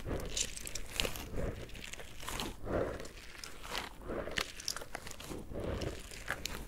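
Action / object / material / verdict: scrape / rubber squishy ball filled with gel beads / rubber / none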